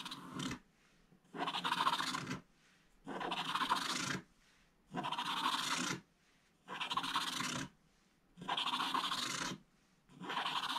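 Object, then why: Scratch-art paper page with foil under black coating, wooden stylus. A wooden stylus scratches the remaining black stripes off a flat scratch-art book page, where a black coating sits over gold foil, and a hand sweeps across the page at the end. About seven dry, raspy scratching bursts, each roughly a second long and separated by short quiet gaps, carry a bright, grainy texture with little low end.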